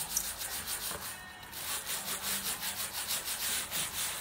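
A wooden-handled bristle brush scrubs the lower suede upper along the sole of a worn black suede Nike boot. It makes a steady, bright, airy scratching in quick rhythmic back-and-forth strokes, easing briefly before picking back up.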